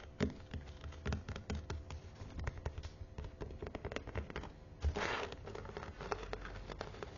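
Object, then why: Perforated faux-leather book cover. Long nails scratch the teal perforated faux-leather cover of a thick Bible held upright and tap along its spine. The result is a quiet, steady run of soft, dull scratches and short taps. A brief, brighter rasping swipe stands out about two-thirds of the way through.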